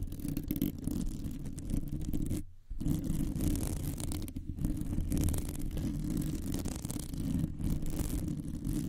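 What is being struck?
Metal wire mesh microphone grille.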